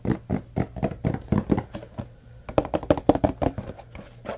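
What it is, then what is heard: Cardboard box tapped. Fingertips tap and knock on the faces of a tall yellow Arm & Hammer carpet deodorizer powder box made of paperboard. About twenty short, dull, hollow thunks come in an uneven rhythm, each dying away almost at once, with a brief quiet gap before the last run of faster, slightly louder knocks.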